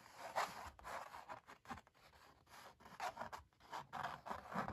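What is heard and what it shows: Both hands scratch and scrape the thick, ridged paint of an oil painting of puppies on stretched canvas with long black nails. Quiet, dry, rasping scratches come in a quick, uneven series of short bursts, centred in the midrange with a papery, textured grit.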